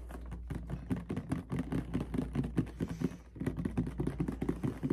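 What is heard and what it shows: A medium clear plastic mouthwash bottle with a white cap, partly filled with red liquid, is held in the hands and tapped with fingertips and nails. It gives rapid, irregular, hollow plastic taps and clicks with a dull low-mid tone, over a steady low hum, with a brief pause near the three-second mark.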